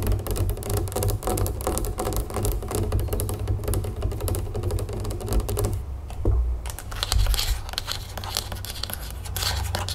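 Long acrylic nails tap rapidly on the body of a large, full Simply Lemonade plastic jug, then tap and scratch its green plastic screw cap. The result is a dense stream of quick, dull plastic clicks over a low, steady hum, with a brief quieter gap before brighter scratching at the cap.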